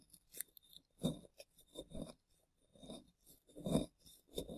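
Gloved hands scrape crumbly plaster from the relief of a solid plaster dinosaur dig block with a small plastic chisel, loosening powder. The sound is a series of quiet, dry, gritty scraping strokes with a low-mid body and faint bright grit. At the end, the tool is lifted away.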